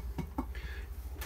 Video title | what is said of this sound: NEW! Airstream 30RB Classic + RV Camping Tip | when you knock on it, it's got a different sound